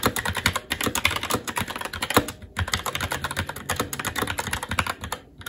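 Fingertips of both hands type continuously on a SteelSeries Apex 7 TKL mechanical keyboard with red linear switches, plastic keycaps and a metal top plate. Rapid, dense plastic clacks with bright key clicks over a soft low thump follow one another with almost no gaps, pausing briefly around the middle and near the end.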